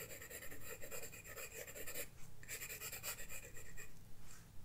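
A graphite pencil scratches strokes across a flat paper sketchbook page, giving a dry, bright rasp in quick, uneven bursts. The strokes pause briefly around the middle before resuming. A soft low rumble stays underneath throughout.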